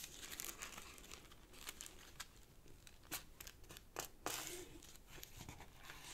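Fingertips fold a sheet of purple origami paper on a black cloth-covered table and rub along its crease lines. The result is quiet, irregular crinkling and crisp, bright rustles, with a few sharper snaps as the creases are pressed.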